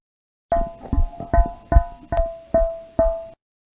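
A cow's abdomen is struck eight times over the gas-distended, displaced abomasum beneath the body wall. Each tap produces a high-pitched metallic "ping" with a steady ringing tone near 650 Hz over a dull low thud. This abnormal ping is typical of abomasal displacement.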